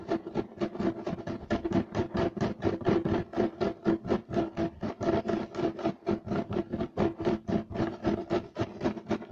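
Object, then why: Woven loop-pile carpet. Short nails of both hands scratch fast and aggressively across a flat, solid beige striped woven loop-pile carpet. The result is a steady run of rough, rasping strokes, about two per second, each a brief broadband scrape with a midrange body and a fizzy high edge, all close and dry.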